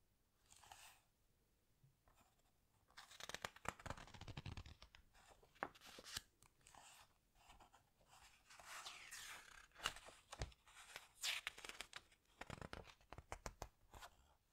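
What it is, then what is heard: Glossy paper book pages. Fingers with long nails rub, squeeze and flip the glossy paper pages of a large open hardcover book. Bright, crisp rustles and crinkles come in bursts, with sharp paper snaps as pages turn, separated by quiet pauses.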